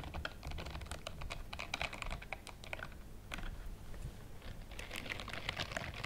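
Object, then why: Silicone bristled scrubbing glove. A pale pink silicone bristled glove is worn on one hand and held in front of the chest, while the long-nailed fingertips of the other hand scratch and rub its bristles. The result is a quick, dense run of short, crisp ticking scratches, bright and dry with almost no ring, over a soft low rumble, pausing briefly before a final busy flurry.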